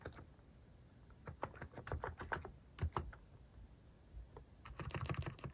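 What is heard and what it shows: Fingertips type on a mechanical keyboard with cat-shaped plastic keycaps, producing a steady run of short, dull, low-weighted clacks. The keystrokes come in quick, uneven bursts with brief pauses, each click stopping almost immediately with little ring.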